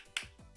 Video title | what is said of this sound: POR QUE TODO MUNDO ESTÁ ME PEDINDO A RECEITA DESSE BOMBOM SALGADO? VEJA VOCÊ MESMO NESSA AULA! | eles estão congelados, eles ficam assim, olha, com esse som de pedra